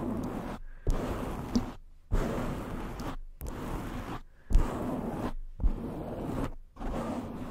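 Long nails and fingertips of both hands scratch and rub directly on the black foam cover of a black cylindrical condenser microphone standing upright. The result is seven muffled, low, rumbling bursts of scratching, each opening with a soft thump and separated by brief silences, with almost nothing bright above.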